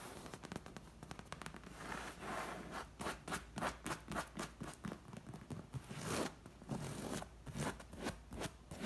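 Long nails and fingertips tap and scratch the back of a dark green padded leather armchair, soft and upholstered. Quick, dry taps come in bursts between rasping scratches across the leather. The hits are short and unresonant, with a soft, muffled body and some high scratchy texture.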